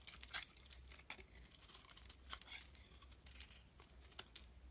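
A metal blade scrapes long shavings off the corners of a translucent brown glycerin soap bar held in the hand. The result is a quiet run of bright, crisp scraping and crackling bursts, with the sharpest ones near the start and end. A faint low hum sits underneath throughout.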